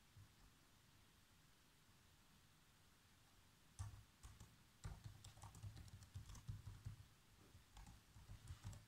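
Bare fingertips with short nails tap the keys of a black plastic laptop keyboard in continuous typing. After nearly four seconds of faint low background hiss, irregular soft clicks begin, each with a low thud and a short bright clack that dies away quickly, as the typing settles into a steady, uneven rhythm.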